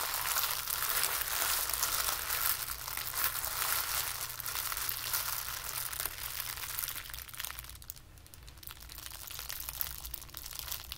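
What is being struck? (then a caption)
Ball of tissue paper. A small ball of white tissue paper is squeezed and crushed in the hands, giving a dense, continuous crackle of bright, papery crinkles. The crinkling stays steady for about seven seconds, eases into a quieter, thinner stretch around the eighth second, then picks up again toward the end.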